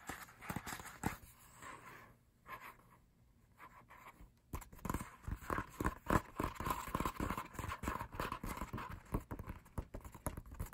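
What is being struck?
Paper lyric booklet.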